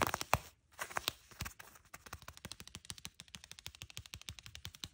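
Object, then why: Faux leather shorts. Long, nude-polished fingernails scratch and tap on beige faux leather shorts, a soft material with folds. Irregular scratchy bursts at the start give way to a steady run of quick, crisp, dry taps with almost no ring.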